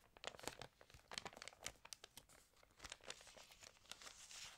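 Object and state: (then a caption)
Glossy paper magazine pages being turned. Hands lift and turn the pages of an open, water-damaged glossy-paper magazine. The paper gives off a quick series of sharp, bright crinkles and crackles, quiet overall, with little low end and almost no ring after each snap. It ends in a softer, steady rustle.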